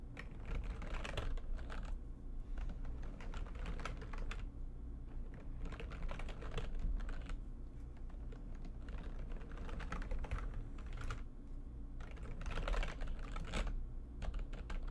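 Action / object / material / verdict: tap / plastic computer keyboard / plastic / none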